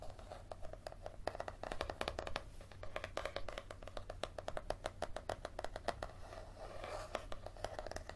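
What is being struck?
Paperback book with a leather-like cover.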